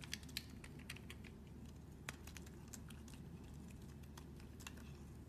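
A metal blade scrapes and cuts small cubes off a solid tan soap bar held in the hand. Quick, crisp, bright ticks and clicks come in an irregular patter over a steady low hum, each one dying away almost instantly.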